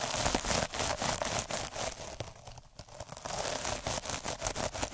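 A needle derma roller is pressed and rolled by hand across a soft, iridescent plastic mesh scrub sponge, producing a bright, scratchy crinkling with rapid, uneven clicking ticks. The texture briefly softens and quiets in the middle before returning to dense, crackly rolling.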